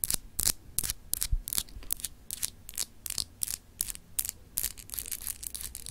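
Long acrylic nails scratch a small, solid, clear etched glass globe paperweight in a series of quick, dry strokes. Each stroke makes a short, bright, raspy scrape with almost no ring, separated by near-silent gaps.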